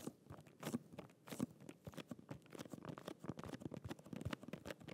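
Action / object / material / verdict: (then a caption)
tap / small cardboard box with a plastic window / cardboard, plastic / none. A small, flat holographic cardboard press-on nail box with a clear plastic window is held in both hands and tapped and scratched with fingernails. Quick, irregular, crunchy taps and crinkly scratches follow one another closely at a soft level, each dying away almost instantly.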